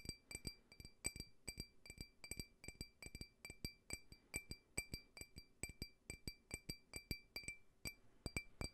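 A small, clear, faceted glass tumbler, hollow and empty, is held in the palm and tapped with fingernails. It gives a quick, steady run of short, bright clinks, each ringing with a clear glassy tone and high overtones that die away almost at once.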